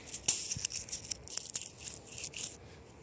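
Fingertips scratch and crunch through a loose, crinkly pile of dry brown fallen leaves on the ground outdoors. The result is a quiet run of short, bright, crackling crunches and rustles with no low rumble, fading to near silence at the end.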